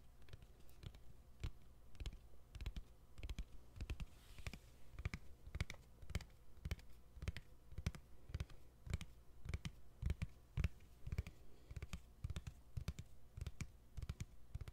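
Fingernails tap quickly on the white plastic back cover of a smartphone held close to the microphone. Dozens of short, dry clicks land in an uneven rhythm, each with a soft, low thump and a faint bright tick that dies away almost instantly.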